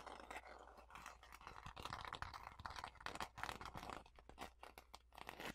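Long fingernails scratch and tap the blue floral paper or card cover of a notebook or journal with visible page edges. The result is a quiet, close run of dry, crunchy scratches and quick papery taps with no ring, over a faint steady low hum.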